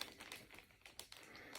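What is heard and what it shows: A CGC-graded plastic comic book slab with a comic inside is shaken for comparison with a rattling EGS slab. Only faint, quiet crinkling and light bright ticks of handling are heard, with no rattle. The book stays secure, with no movement inside.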